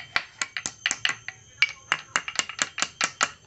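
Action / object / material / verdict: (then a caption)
strike / steel motorcycle steering stem bearing race struck via a pipe drift / steel / none. A hammer strikes a steel pipe drift held over a solid steel motorcycle steering stem (fork triple clamp), tapping the bearing race down onto its bearing cone at the base. About 17 short, sharp metal-on-metal knocks, each ringing bright around 2.3 kHz, come in an uneven rhythm with brief pauses.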